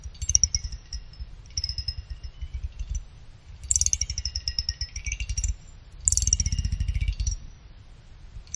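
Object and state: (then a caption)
Aluminum CPU heatsink fins plucked. A pick plucks along the side fins of a small finned aluminum CPU cooler heatsink, making them ring like chimes. Four quick runs of rapid plucks give bright, high, chime-like ringing tones that sweep slightly in pitch, over a steady low rumbling buzz. Each pluck is short and crisp, with brief pauses between the runs.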